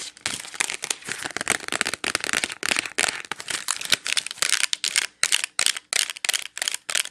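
Long nails tap and scratch on a clear plastic wax melt clamshell full of wax cubes. The result is a dense run of bright, crinkly taps and scratchy bursts with almost no low end, each one dying off instantly and separated by brief quiet gaps.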